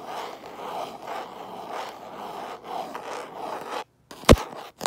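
Fingertips and nails scratch the back of a hand-sized smartphone in a light-colored hard plastic case, held in one hand while the phone records. Close, rhythmic scraping strokes run for nearly four seconds. After a brief silence come two sharp, loud taps on the case.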